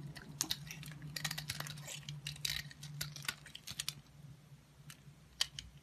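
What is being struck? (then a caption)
Bar of soap cut with a blade. A box cutter blade scrapes and cuts pieces off a solid bar of mostly yellow soap held in the hand. Crisp, bright scraping crackles and sharp clicks come in dense bursts for the first four seconds, then thin out to a few isolated cuts, including a pronounced snap near the end. A faint steady low hum sits underneath throughout.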